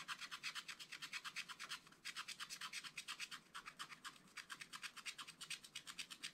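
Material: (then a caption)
Coated paper. A pointed wooden stylus tip scratches a flat black wax-coated scratch-art paper page in a spiral book in short, quick strokes. The result is a rapid, steady run of dozens of crisp, bright scratches, with almost nothing low in the sound. Brief pauses come near two seconds and again around four seconds.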